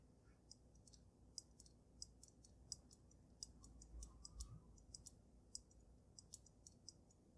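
Long nails tap the sides of the glass dome on a water-filled glass snow globe resting on a dragon base. The result is a quiet, irregular string of short, bright, high clicks that die away almost instantly, over a low, steady rumble.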